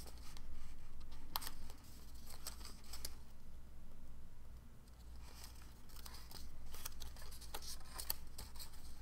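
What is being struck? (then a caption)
Folded origami paper sheet. A small folded shape of dark blue origami paper is held in both hands while fingertips pinch, crease and rub its folds. The result is sharp, bright paper creasing and crinkling clicks in irregular bursts over a low steady hum.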